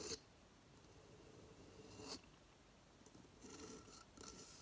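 Fingernails scratch and rub the rough, fibrous outside of a hollow coconut shell hamster hideout with a shell stand, first resting on a table and then tilted in the hands. Two sharp, bright scratches stand apart over quiet, faint rasping, and a brisker burst of rubbing and scratching follows near the end.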